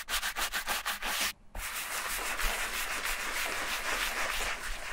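A bristle brush with a wooden handle scrubs the foamy leather upper and toe of an empty silver leather Repetto ballet flat. About six quick rhythmic scrubbing strokes are heard, then a brief pause, followed by steadier continuous bright, hissing brushing to the end.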